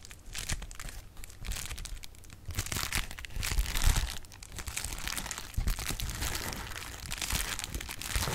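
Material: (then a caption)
Plastic. Clear plastic bubble wrap is crinkled and its bubbles are popped with fingertips close to the mic. A dense, continuous stream of bright crackles and crinkles rides over soft low thumps, with louder bursts of pops near the start, middle and end.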